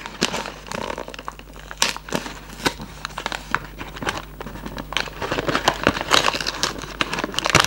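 A hollow Raffaello cardboard candy box with a plastic window is held close and squeezed and rubbed with fingertips. Bright, dense crinkling and sharp crackles come in uneven bursts over a faint steady low hum, getting busier toward the end.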